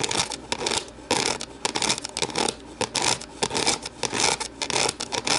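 Long nails scratch and tap the rim, inside and base of an empty translucent plastic deli container as it is held and turned. The hollow plastic gives bright, dry scratching bursts with quick clicky taps in an uneven rhythm, with almost no low end and very short ring.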